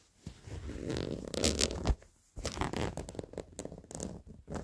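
Worn blue denim jeans with stitched seams and frayed edges are scratched with short fingernails along the fabric and seams. The result is rough, raspy scraping strokes with a low rumbling body and bright edges, broken by brief pauses.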